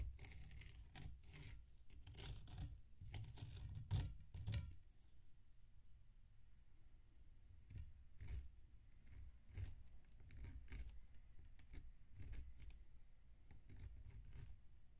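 A metal butter knife slices and scrapes through a large, solid mound of packed damp sand on a metal tray while the other hand steadies the block. Repeated soft, crunchy gritty strokes sit mostly in the low range, with brief bright crackles on each cut. The busiest, loudest strokes come in the first few seconds.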